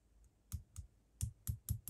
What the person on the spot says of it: it just makes a little sort of tinking sound on the block but it's fairly equal both sides it's not moving a lot